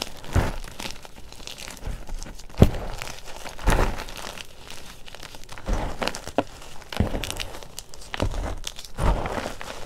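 Bare hands squeeze, press and rub a powdery pile of crushed gym chalk (magnesium carbonate) soaked with baby oil in a green bowl. The result is soft, muffled crunching and crinkling in uneven bursts, mostly low in tone with little brightness. Each crumble dies away almost instantly.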